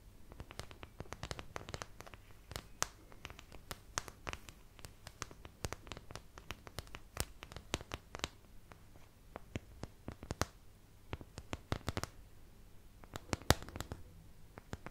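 Long nails scratch the edge and wells of a white plastic paint palette held beside the mic. The result is a quiet, rapid run of short, crisp scrapes and clicks that flash bright, with a faint low hum underneath.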